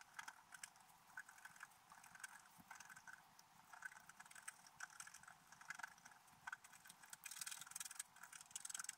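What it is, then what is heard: Scratch art paper being scratched. A wooden stylus scratches details into a flat, black-coated scratch art paper page, making quick, dry, hissy scratching strokes. The sound is thin and bright with almost no low end, and the strokes grow denser and louder toward the end.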